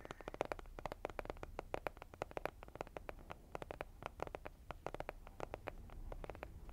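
Fingernails tap rapidly and irregularly on a flat, rectangular, printed cardboard Cheek Parade blush palette, a hollow makeup case held close to the mic. Each tap is a short, dry, hollow click centered in the mid range with almost no ring, over a faint low rumble.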